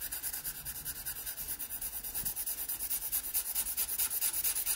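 A wooden pencil, held flat under the hand on an open paper sketchbook page, makes broad side strokes across a drawing of a pear. The pencil rubs the paper in a steady, rhythmic back-and-forth of bright, airy scratching hiss, each stroke swelling and fading quickly. There is almost no low end.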